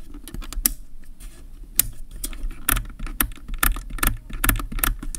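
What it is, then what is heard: Plastic camera lens barrel. Fingertips and nails scratch and rub the ridged focus/zoom ring of a hollow black plastic kit zoom lens mounted on a Canon DSLR body. The result is an irregular run of sharp, bright ticks and scrapes over a soft low rumble, each click dying away almost instantly.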